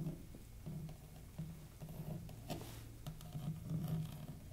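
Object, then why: Hard plastic carrying case. Long fingernails tap and scratch the lid of a medium black and red hard plastic carrying case, hollow and closed, held on one hand. Soft, hollow low-pitched taps mix with faint scratching and patter. The sound stays quiet and close throughout.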